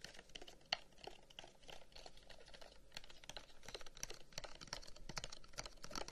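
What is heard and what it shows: Fingertips tap rapidly along the lid of a long, hollow, carved wooden incense box with a pierced flower pattern, held close to the microphone. The quiet, dense taps are short, dry and clicky, with bright edges and almost no ring, and one sharper tap stands out near the start.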